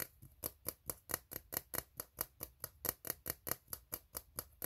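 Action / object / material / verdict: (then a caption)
tap / ribbed steel tin can / steel / none. An empty, hollow, ribbed steel tin can is tapped rapidly with fingertips, and nails scratch along its ribs. About 21 short, dry, bright hits come at a quick, slightly uneven pace, each dying away almost at once over a faint low rumble.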